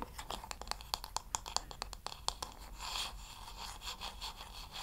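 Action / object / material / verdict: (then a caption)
tap / wooden hair brush back / wood / none. Fingertips and long nails tap on the smooth, solid wooden back of a wooden paddle hair brush, making a quick run of sharp, bright clicks that stop almost at once. The tapping then gives way to a softer, steady hiss of nails scratching across the same wooden back.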